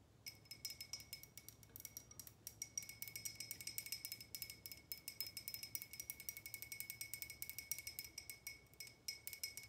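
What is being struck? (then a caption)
Small glass tumbler. A small, clear, hollow glass tumbler that appears to hold water or ice is held in both hands and tapped quickly with long painted nails. Dozens of light, rapid clicking taps run steadily throughout, each with a very short, bright glassy ring. A faint ringing tone near 2.2 kHz and a higher one persist underneath.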